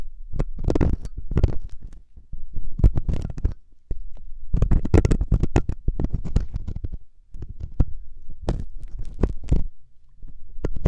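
A metal loop ear pick held by fingertips scratches inside the ear canal of the solid, soft silicone ear on a 3Dio binaural microphone. The sound is a close, muffled run of low, rumbling scrapes and thuds in uneven bursts, with occasional brighter clicks over nearly eleven seconds.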